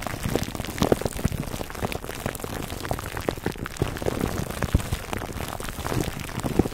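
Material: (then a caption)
Plastic film. Fingertips scratch the top of a foam microphone cover wrapped in clear plastic film. The result is a steady, dense crinkling and crackling full of tiny sharp ticks that patter like rain, weighted toward the low end and continuing throughout the clip.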